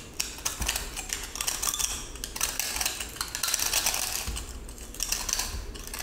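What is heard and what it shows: A metal utility-knife blade cuts and scrapes a small, solid but crumbly cylindrical pressed salt block held in the hand, with a gold glitter crust and a blue salt core. Dense, bright crunching and gritty scraping come in quick bursts with sharp clicks as the salt is crushed.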